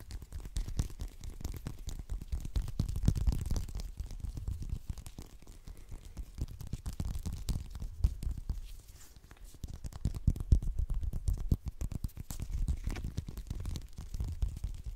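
Fingernails scratch and tap quickly on the peel of a whole, solid orange held close to the microphone. The result is a dense, continuous stream of soft, muffled thumps and scrapes concentrated in the deep low end, swelling louder around three seconds and again near ten seconds, with a brief lull in between.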